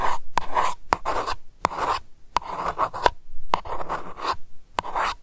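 Long nails tap and scratch the flat top of a round silver metal lid on a glass lavender candle jar. Sharp, quick clicks alternate with bursts of dry, rasping scratches centered on a midrange tone near 1 kHz. Each tap dies away almost at once.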